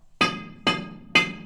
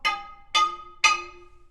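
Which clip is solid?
The second.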